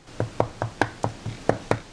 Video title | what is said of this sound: HOMEMADE GRANOLA - Crunchy Clusters with Dried Fruit and Nuts | you can hear it's hard when I'm tapping it